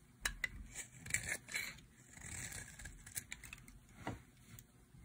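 A utility knife blade scrapes and carves a solid, light green bar of dry soap held in the hand. It makes a series of quiet, crisp, brittle scrapes and sharp ticks, bright and high with a tone near 2.3 kHz and little low end. Each cut dies away almost at once.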